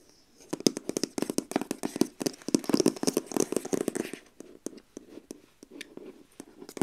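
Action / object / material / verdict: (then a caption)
tap / cardboard box sleeve / cardboard / none. Long acrylic nails rapidly tap and trace over the printed product image on a long, hollow printed cardboard box sleeve resting on a lap. The result is a dense run of short, dry, hollow knocks with a low-mid body and crisp bright edges, mixed with soft scratchy tracing. After about four seconds, the taps thin out into sparser, scattered knocks.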